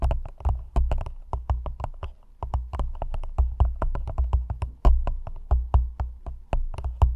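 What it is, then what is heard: Clear plastic cup tapped with nails. Long nails tap rapidly on the sides of an empty, hollow, thin clear plastic cup held upside-down over the microphone. The result is a fast, uneven run of dry clicks, each with a deep, hollow thump underneath and a sharp bright tick on top. Every tap dies away almost instantly.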